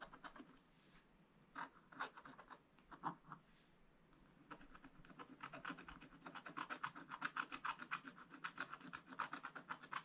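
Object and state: Scratch-art paper being scratched.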